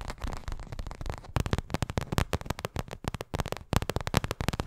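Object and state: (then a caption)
Paperboard milk carton. A small, hollow printed paperboard milk carton is held close to the microphone and tapped and scratched with long acrylic nails. A softer, continuous scratching at the start gives way to a rapid run of short, dry, hollow taps with a deep, low-heavy thump and almost no ring.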